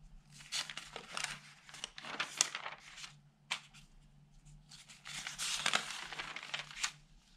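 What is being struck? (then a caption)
Newsprint paper newspaper. Fingertips turn the pages of an open, thin, flat newsprint newspaper, rubbing the sheets and lifting the paper. Bright, dry rustling and crinkling come in quick bursts with short quiet gaps between them, over a faint steady low hum.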